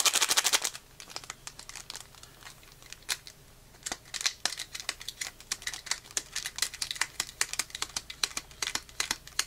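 A small, flat, unopened metallic foil-plastic Pokémon card booster pack with cards inside is held in both hands while the fingertips squeeze and crinkle it and start tearing it open at the top. A dense burst of bright crinkling in the first second gives way to dozens of sharp, dry crackles and ticks that stop almost instantly, with very little low end.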